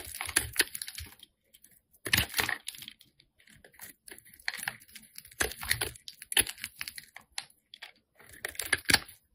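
A metal blade scrapes and carves the surface of a solid, hand-sized, light-blue bar of soap held in the hand. Bursts of crisp, bright scraping and rapid clicking ticks come in uneven clusters, separated by brief silences. The sound is dry and short, with almost no low end.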